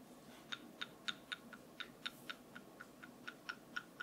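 A wooden brush is tapped 15 times in about four seconds, at a fairly steady pace of roughly four taps per second. Each tap is a short, dry click with a bright ring near 1.4 kHz and 3.7 kHz, heard over a faint, quiet background hiss.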